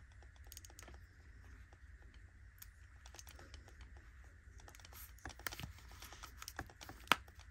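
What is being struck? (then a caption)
Metal cushion compact case. A round, palm-sized gold metallic cushion compact, a hollow case with a puff inside, is tapped with long nails on its rim and lid, then opened by hand. Quiet, quick clicky taps patter over a steady low hum and a faint mid-range tone. A few sharper clicks come near the end, with the loudest, brightest snap just before it finishes.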